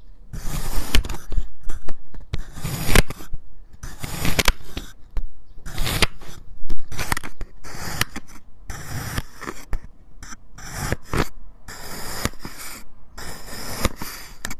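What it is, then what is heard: Kinetic sand heart being sliced. A solid heart-shaped mold of purple kinetic sand with a yellow swirl core is sliced with a white ceramic knife fitted with a clip-on mic. Repeated bursts of gritty, crunchy cutting and scraping come with short pauses between strokes and a deep, muffled low end beneath the bright grain.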